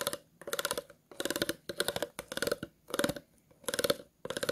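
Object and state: Empty plastic bottle, ridges scratched.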